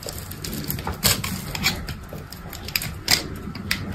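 An orange box cutter scrapes and cuts cubes from a solid bar of dried soap with a black embossed top and a green body. Crisp, bright scratching and crumbling clicks come in uneven bursts, with a few sharper snaps as pieces break off, over a faint low rumble.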